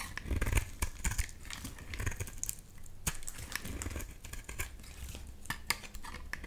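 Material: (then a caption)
Soap. A solid yellow bar of soap, held in the hand, is shaved with a box-cutter blade into curly flakes. The blade makes a steady run of dry, crackling scrapes with sharp, bright ticks over a soft low rumble.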